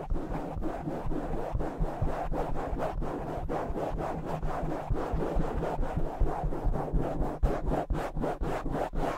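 Fingertips and short nails of both hands scratch a soft black foam cover fitted over a large silver microphone. The result is a fast, uneven series of muffled, low, rumbling scratching strokes, about two per second, with little high-end brightness.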